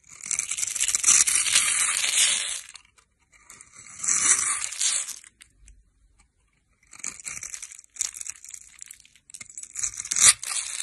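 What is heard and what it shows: A metal knife scrapes and cuts the top edge of a solid green bar of dry soap held in the hand, throwing off crumbly shavings. Dry, crunchy, bright scraping comes in bursts separated by short pauses, with sharper crackling cuts toward the end and almost no low end.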